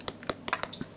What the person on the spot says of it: mes petits choux tout léger qui sont bien cuits tapote creux